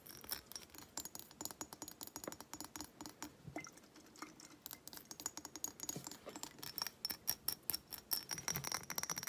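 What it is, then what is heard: Glass reed diffuser bottle. Long nails rapidly tap and scratch a small bumpy-textured glass reed diffuser bottle with wooden reeds and some liquid inside as it is held and tilted. Dozens of quick, bright, clicky taps come in a steady patter with light scratching between them, and a faint high glassy ring sits over the taps.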